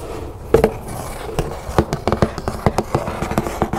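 Long nails scratch and rub along the sides and lid of a large, hollow decorative cardboard storage box printed with butterflies and birds. The result is a quick, irregular run of short, dry ticks and scrapes over a soft, steady hiss, each one dying away almost at once.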